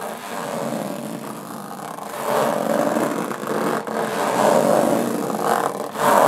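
Long nails scratch slowly across the textured lid of a closed, hollow aluminum carry case. The result is a continuous rasping scrape with a hollow metallic body centered in the mid range, swelling and fading with each stroke, with brief dips between passes.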